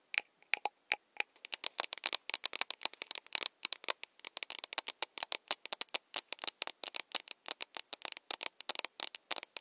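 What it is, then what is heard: Plastic mug tapped with nails. Long nails tap the body of an empty, hollow plastic mug with a handle, held in both hands. A few spaced taps open into a fast, continuous run of sharp, bright clicks with no low end. Each tap dies almost instantly.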